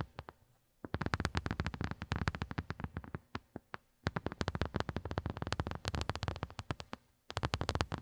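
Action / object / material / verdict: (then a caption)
tap / silicone phone case / silicone / none. Long glittery nails on both hands rapidly tap and scratch a small, hollow white silicone phone case with raised square bumps, lying on carpet. About 56 quick, dry taps land in dense bursts, each a soft low thud with a faint bright click that dies almost instantly, with brief pauses near one, four and seven seconds.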